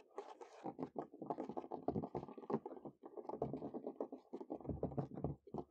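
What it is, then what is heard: Wooden picnic table. Natural fingernails scurry and tap quickly across the top of a large, solid wooden picnic table outdoors. The result is a dense, continuous patter of short, dry scratches and taps that leave almost no ring. The sound stays mostly in the low-mid range, with quick bright flicks above it.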